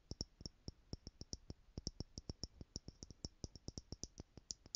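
Long manicured nails tap the top lid of a tower of small clear plastic stackable jars, screwed together, partly filled with loose gold glitter or jewels, and held in one hand. About 29 quick, dry clicks come in an uneven rhythm, each with a soft low thump and a bright tick that dies away almost at once.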